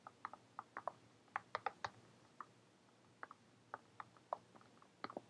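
Long painted fingernails tap on a brown faux-leather-covered hardcover journal with a metal owl emblem, held upright in the hands. About eighteen quiet, dry clicks come in irregular bursts, each dying away almost at once over a faint steady hum.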